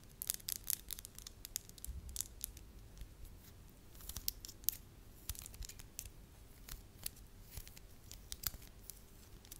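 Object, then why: Small lump of soft wax. A small solid lump of soft beige wax held in the fingertips is tapped and scratched with long lavender acrylic nails. Quiet, sharp, bright clicks and scratchy taps come in an irregular stream over a faint low background rumble.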